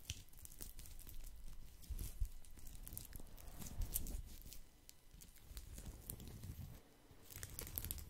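A round, flat, woven natural straw or rattan placemat or trivet is held close to the mic and scratched with fingertips and nails across its woven coils. It makes a steady, dry, crackling scratch with many small bright ticks over a deep, muffled rumble. The scratching briefly quiets near the end before picking up again.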